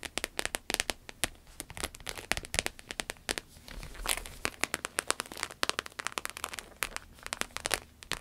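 Long acrylic nails rapidly tap and scratch a red, glossy, croc-embossed vinyl wallet resting on a table. The result is a dense stream of sharp, bright clicks and crinkly scratches with very little low end, with a brief stretch of continuous rubbing near the middle.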